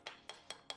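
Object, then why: Carbon fibre road bike frame. Four light taps on a crash-damaged Trek carbon fibre road bike frame, checking the spot for a change in tone that would suggest damage to the carbon. Each tap is a short, bright click with a faint ring around 3.3 kHz that dies away quickly. The taps are evenly spaced and sound alike.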